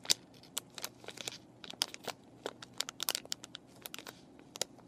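Fingernails scratch and fingers crinkle a clear plastic and cardboard paintbrush package with brushes inside. The result is a quiet, irregular stream of sharp, bright crackles and taps that stop quickly, with almost no low end.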